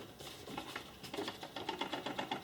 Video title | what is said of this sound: Pen Gear Safe Book | when you shake it, yeah, you hear a little bit of the metal box inside